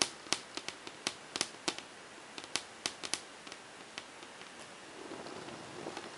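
Long painted fingernails on a hand wearing rings tap quickly in one spot on a large, flat, glossy whiteboard panel. About seventeen sharp, bright clicks with almost no ring come in quick, uneven bursts. The taps then give way to a faint, soft scratching noise over the last second or so.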